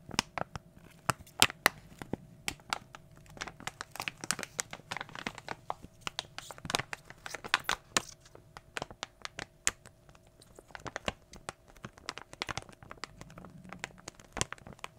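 A small glossy plastic foil toy blind bag, printed with cartoon characters and holding a soft toy inside, is held close to the microphone and crinkled and squeezed with fingertips. Dense, bright crackling and sharp crinkly snaps run throughout, with a few louder pops standing out. Quieter, softer rustling fills the gaps between them.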